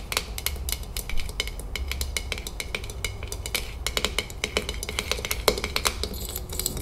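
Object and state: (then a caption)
Glass jar tapped with fingernails. Long fingernails tap rapidly on the metal lid and glass sides of a full glass salsa jar. The result is a dense stream of bright, crisp clicks with a light glassy ping around 430 Hz. Each tap dies away almost at once over a soft low rumble.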